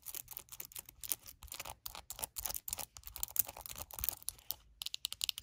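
Long nails rapidly tap and scratch the glossy, hollow plastic back and the bristle pad of a purple Wet Brush detangling hairbrush. The result is a quick, uneven run of crisp, bright clicks mixed with dry, scratchy rustles. Each sound stops almost instantly, with little low end.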